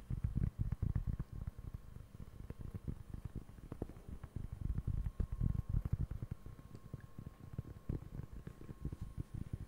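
Fingertips scratch and tap the textured surface of a large, round, flat, solid cork board held in both hands close in front of the mic. It makes a steady run of soft, dull taps and rustling scratches over about ten seconds, deep and muffled with almost no bright content. Each tap dies away instantly.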